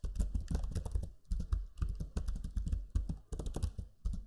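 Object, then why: Plastic laptop keyboard. Fingertips type quickly on the low-profile plastic keys of a backlit black Lenovo Legion 5 laptop keyboard. The result is a dense stream of soft, muffled, thocky clicks with very little ring, arriving in short bursts separated by brief pauses.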